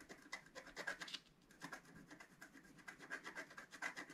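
A wooden stylus scrubs the black coating off a planet area of a flat scratch-art paper sheet lying on a table, working in small circular strokes. Quiet, dry scratching and rubbing comes in rapid bright bursts, with a short lull partway through before the strokes resume.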